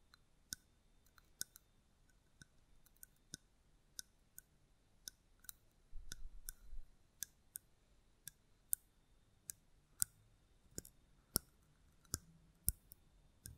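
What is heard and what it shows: A small, hollow red mosaic-glass votive candle holder is held and tapped and scratched with long nails. Sharp, dry clicks recur across the clip, each with a bright, glassy edge and almost no ring. A brief low rustle around the middle suggests handling.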